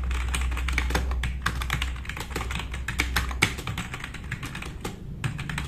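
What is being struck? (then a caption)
Plastic mechanical keyboard. Both hands type fast with their fingertips on a compact, RGB-backlit mechanical keyboard with black plastic keycaps resting on a wooden desk. The result is a rapid, uneven stream of sharp plastic clicks and clacks with bright attacks and short decay. A low steady hum sits beneath the typing for the first few seconds, then drops away.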